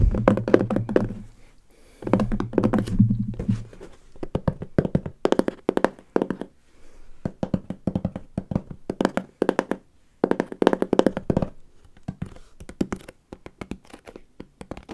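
A medium brown corrugated cardboard shipping box with a label, hollow with unknown contents, is tapped with fingertips while it sits on a table, then lifted and tapped and handled in both hands close to the microphone. Rapid bursts of dry, hollow taps and low thunks come in quick flurries separated by brief pauses, each tap dying away almost instantly.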